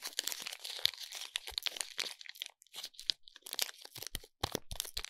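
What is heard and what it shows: Fingertips and nails crinkle and scratch the silver foil wrapping of a soap bar. The result is a quiet, dense stream of bright, crunchy crinkles and sharp crackles with short pauses and almost no low end.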